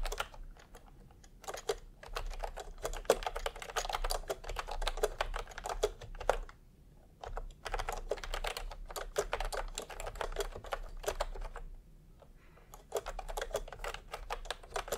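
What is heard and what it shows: Fingertips type steadily on a full-size retro keyboard with a peach plastic case and round typewriter-style plastic keycaps. The result is a rapid stream of light, dry clicks and taps with a bright edge, broken by brief pauses around 7 and 12 seconds before typing resumes.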